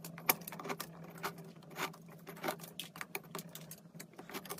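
A metal knife shaves thin curls off the bottom edge of a large solid peach-pink soap block held by hand. A quick series of short, crisp, bright scraping strokes crackles over a faint steady low hum.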